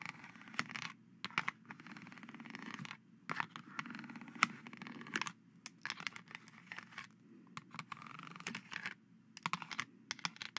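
Two plastic skeleton-hand grabbers tap and scratch the surface of a hollow, face-sized, silver-painted plastic knight visor mask lying on dark cheesecloth. Quick, dry clicks alternate with bursts of bright, scratchy rubbing, separated by brief silences. The sound is quiet and light, with almost no low end, and each tap dies away instantly.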